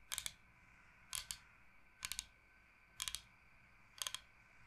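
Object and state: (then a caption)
Bamboo cutting board. Long nails tap rapidly on the face of a large, flat, solid bamboo cutting board shaped like Michigan. Five short bursts of quick, bright clicking come about once per second, each holding two or three sharp, dry taps that stop almost instantly, with quiet pauses between them.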